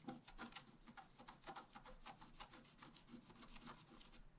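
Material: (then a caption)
Coated paper. A wooden stylus point is scratched across the black coating of a flat A4-size scratch-art sheet with a rainbow layer underneath, lying on a table while the other hand holds the sheet. The result is a quiet, dry, raspy scraping made of a rapid run of short strokes, with a bright hiss over a soft low rub.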